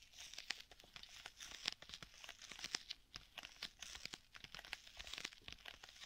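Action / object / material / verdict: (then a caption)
tap / leather tablet case / leather / none. Fingertips scratch and tap the surface of a black stitched leather folio tablet case with a strap. Dense, crisp, crackly scratching mixes with many quick sharp taps, bright and papery with almost no low end. Each tap dies away instantly.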